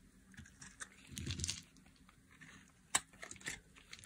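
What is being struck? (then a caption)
Bar of soap scraped with a metal blade. A metal blade carves and scrapes flakes off a hand-sized solid red bar of dry soap. Soft crisp crunching and scraping is heard, with a denser low rustle around the middle and a sharp bright snap near the end.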